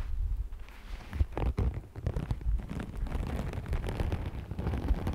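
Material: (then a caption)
Vinyl. Fingernails scratch along the surface of an iridescent, holographic scale-textured faux snakeskin vinyl sheet rolled into a hollow tube. The sound is a close, muffled, continuous rustling scratch with dense small crackles, heavy in low rumble and with little high end.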